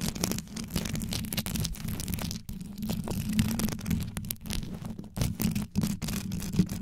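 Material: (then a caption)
Rhinestone. Long yellow nails quickly scratch and tap the rhinestone-wrapped head of a metal microphone. The result is a dense, continuous run of rough scratching and brittle clicks over a deep, boomy low rumble, with bright crackle on top and a few brief pauses.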